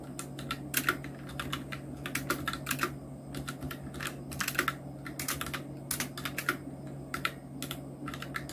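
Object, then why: Plastic mechanical keyboard with round keycaps. Fingertips of both hands type steadily on a full-size black Nubwo Illution NK-70 mechanical keyboard with Outemu red switches, round plastic typewriter-style keycaps and blue backlight, resting on a white desk. The clip is a continuous run of quick, bright plastic clicks and clacks in uneven bursts and short pauses, each keystroke dying away almost instantly. A steady low hum sits underneath throughout.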